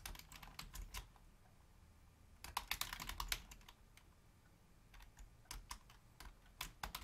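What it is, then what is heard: Plastic computer keyboard. Long fingernails and fingertips of both hands rapidly tap the keys of a full-size black plastic Logitech membrane keyboard with a hollow housing. Bursts of sharp, bright clicky taps with a light hollow low thud come in three flurries: at the start, around the middle, and near the end. Quiet pauses separate the flurries, and each tap dies away almost instantly.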